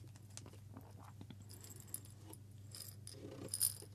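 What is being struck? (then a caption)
Small glass jar with metal lid holding coffee beans. A small hollow glass jar with a metal lid, partly filled with coffee beans, is held up and shaken with the fingers. The beans make soft, scattered rattles and bright clicks against the glass over a steady low hum, with the sharpest click near the end.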